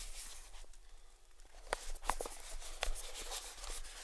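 Fingertips tap and scratch the edges and lid of a small, hollow, closed grey cardboard gift box with a white ribbon bow, held in the palms. Soft papery scratching runs under a few sharper, brighter taps that stand out from the quiet hiss.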